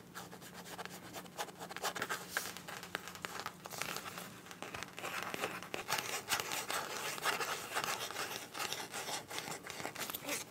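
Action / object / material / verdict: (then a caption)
scrape / fabric zipper pouch / fabric / none. Long nails scratch and rub the surface of a green printed fabric zipper pouch held in both hands. The result is a dense, continuous run of quick, bright, crinkly scratching strokes, with a faint low hum underneath during the first half.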